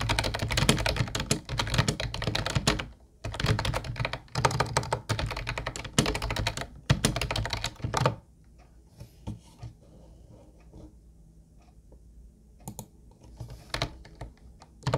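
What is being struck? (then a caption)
Plastic computer keyboard. Fingertips of both hands type on a mint-blue plastic retro Ubotie keyboard with round white keycaps. Dense, rapid clacking bursts with short pauses fill the first eight seconds. The typing then drops to a quiet hush with only a few scattered soft taps.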